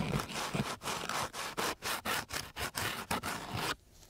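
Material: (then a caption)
Sandpaper. A flat wooden stick laid along a coarse, gritty sandpaper sheet is scraped back and forth in quick strokes. It makes a rough, bright rasping sound that pulses with each pass. The scraping stops abruptly near the end, leaving faint quiet.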